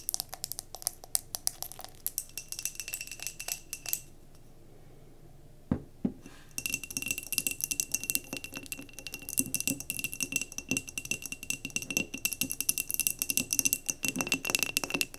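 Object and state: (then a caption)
Glass jar candle. Long nails tap rapidly on the glass sides and base of a glass mason jar candle filled with solid wax, making dense, bright clicks with a faint high ringing tone. The tapping pauses into near-silence for about two seconds, broken by a couple of duller knocks, then resumes just as fast and busy to the end.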